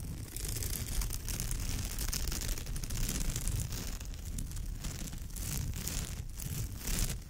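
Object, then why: Woven straw bag. Long nails on both hands scratch across the surface of a woven straw bag, making a steady, dense scratching and crackling. The rough low rumble dominates, with a bright hiss of fibers above it that swells and fades as the strokes go on.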